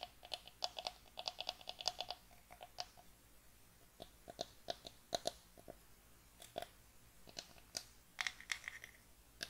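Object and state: Pine wooden box.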